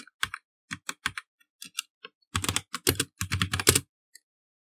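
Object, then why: Plastic mechanical computer keyboard. Fast typing with the fingertips of both hands on a black plastic mechanical computer keyboard. Scattered key presses give way to a dense run of rapid clacks, each with a low thock under a bright, clicky top. The run ends with one last lone tap.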